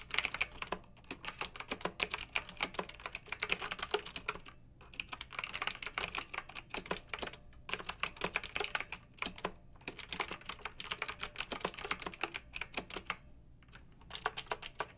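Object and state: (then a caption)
Plastic mechanical keyboard. Long nails and fingertips of both hands type on a pink backlit plastic mechanical keyboard with round plastic keycaps. Rapid, bright, clacky taps come in steady bursts separated by brief pauses, each stroke short and dry with almost no low end.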